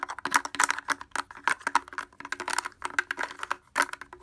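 Fingers wearing wooden clothespins tap rapidly on the front of a blue plastic portable speaker with a hollow housing and grille. The result is a fast, irregular stream of sharp, dry clicks and clacks that die away almost instantly. Each tap has a bright, hollow midrange tone and a faint low resonant hum beneath.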